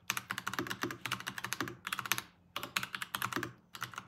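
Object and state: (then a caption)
Plastic mechanical keyboard. Fast typing with fingertips on a Varmilo VBS108 Chinese-style full-size mechanical keyboard with Kailh crane switches and plastic keycaps, resting on a pink desk mat. About 25 crisp, bright keystroke clicks come in quick bursts, with short pauses between them. Each click is dry and dies away almost at once.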